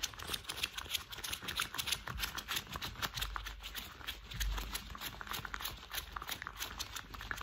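Worn thick cream rubber household gloves have their gloved fingers tapped, squeezed and rubbed together, making rapid, irregular soft taps mixed with bright rubbery squeaks and rustles. Short, dull knocks sit low underneath, and a faint steady high tone runs throughout.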